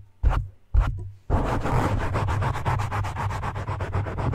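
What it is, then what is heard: Foam microphone windscreen being scratched. Fingertips of both hands rub and scratch a black foam windscreen on a microphone. Two short scratching swipes are followed by a steady run of quick, rhythmic scratching strokes, each a dense rustle with a heavy low rumble and a bright, airy hiss on top.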